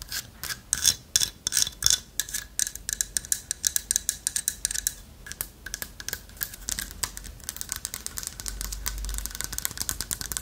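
Long nails tap and scratch across the hollow lattice body of a light wood carved owl figurine. The result is a stream of quick, dry, bright clicks and scratchy rasps that die away almost instantly, irregular in rhythm. The sound sits mostly in the high range with little low end.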